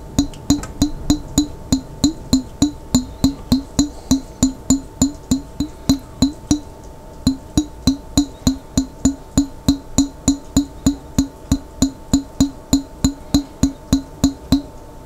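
A large clear glass pickle jar with a lid, held sideways and partly filled with water, is tapped on its body with fingertips. About 49 quick, steady taps with a short pause near the middle give off dull, hollow knocks pitched around 277 Hz, each with a brief high glassy ring that dies away fast.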